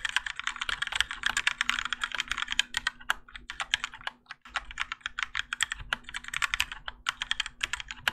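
A Keychron K4 compact mechanical keyboard with Gateron Yellow switches, grey and orange ABS plastic keycaps and a plastic and metal case, resting on a desk mat, is typed on continuously with the fingertips of both hands. Rapid, bright clacky keystrokes come in dense bursts with a brief pause near the middle, over a faint low steady hum.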